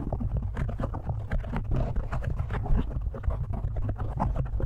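Fingertips of both hands tap and scratch quickly on a black foam windscreen on a microphone. The result is a dense, continuous stream of muffled, bassy thumps and soft rustling with little high-end detail.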